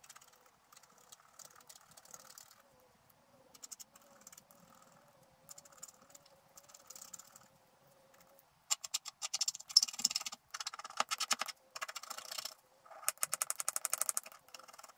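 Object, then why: Scratch art paper scraped with a wooden stylus. A wooden stylus scratches the black layer of a scratch art sheet lying on a table, near the staff area of the picture. Soft, faint scratching over a steady low tone gives way after about eight seconds to louder, rapid, bright scratching strokes in quick bursts.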